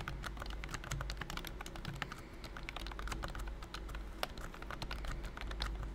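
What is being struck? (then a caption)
Plastic keyboard with silicone key skin. Fingertips type quickly on a pink and cream BT21 COOKY full-size plastic wireless keyboard with round keys and a hollow body, covered by a thin silicone key skin. A steady stream of soft, muted, short taps with dull clicks is heard over a constant low hum.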